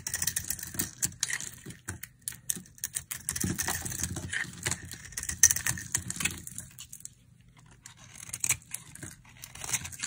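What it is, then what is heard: Dry soap bar scraped with a knife. A solid rectangular pink soap bar with a blue coating, held in the hand, is carved and scraped with a utility knife blade, shaving off curls of dry soap. Dense, dry, crackling scrapes and quick bright ticks run steadily, pause briefly near the seven-second mark, then resume softer.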